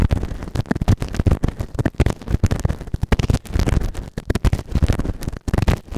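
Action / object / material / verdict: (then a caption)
scrape / silicone ear-shaped microphone scraped with a plastic ear tool / silicone / none. A white plastic ear tool held in fingertips scrapes inside the ear canal of a grey, soft but solid silicone ear-shaped microphone on a round base. The result is dense, rapid, close-up scratching and scraping with a heavy low rumble and a muffled, dull tone.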